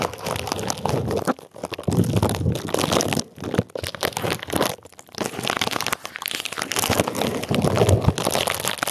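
Clear plastic bubble wrap covering a microphone head is pinched, pressed and crinkled with fingers and nails. It makes dense, close crinkling and crunching with sharp crackles, broken by brief pauses around 1.5, 3.2 and 5 seconds. The texture is bright and full across the range, with a strong low thump from pressure on the microphone.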